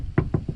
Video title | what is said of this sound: Looking for a car project? Hopefully my advice will help. | it sounds more like a wooden door than it does a body panel